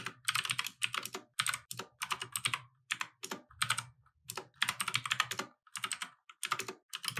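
Fingertips type continuously on a compact mechanical keyboard with plastic keycaps resting on a wooden desk. Bright, crisp clacks come in quick bursts separated by brief pauses, each keystroke cutting off almost instantly with little low end.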